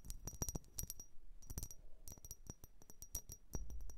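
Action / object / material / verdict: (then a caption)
tap / vase / unknown / none. A blue vase is tapped and scratched in a rapid, uneven series of short strikes. Each hit gives a bright, coin-like clink with a high, briefly ringing tone that dies away almost at once. A faint low rumble sits underneath.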